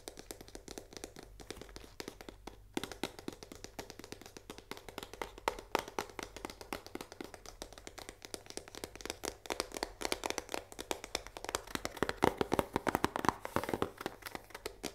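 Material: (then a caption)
Cardboard. Fingertips and long nails tap rapidly on the face and edge of a full cardboard Barilla risoni box with a window. The result is a quiet, continuous stream of short, dry midrange taps with almost no ring, growing slightly louder and denser toward the end.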